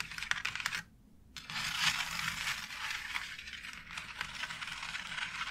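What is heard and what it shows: Long nails tap and scratch across a white embossed plastic faux brick wall tile, making sharp, dry clicks over a bright, scratchy hiss with almost no ring. A brief pause near the start breaks the sound before steady scratching and scattered taps continue.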